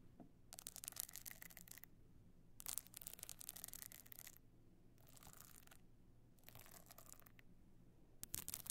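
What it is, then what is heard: Stone-chip covered box clutch. Long nails scratch near the edge of a tilted rigid box clutch with a pebbled stone-chip covering. The bright, gritty rasping comes in bursts separated by short pauses, over a faint steady low hum.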